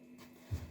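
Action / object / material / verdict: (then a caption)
tap / handheld wireless microphone / metal / loose. A faulty wireless microphone that pops when handled is tapped twice to check for a loose internal part, possibly a loose cap. Two quick, dull, low thuds are heard over a faint steady hum. The microphone is confirmed to rattle.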